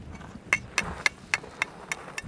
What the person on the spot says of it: it sounds like metal